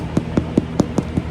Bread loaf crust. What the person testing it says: That is how you know when your bread is done. You want to hear that nice hollow inside.